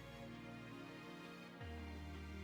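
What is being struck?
Nothing is struck.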